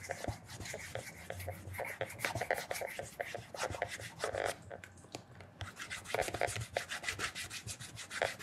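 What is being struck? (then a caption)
Leather shoe upper. Bare fingertips rub and smooth the polished upper of a black leather loafer lying on its side with a wooden shoe tree inside. Quick, steady strokes produce a dense run of soft, bright, squeaky rubbing sounds with a faint mid tone, pausing briefly near the middle before resuming.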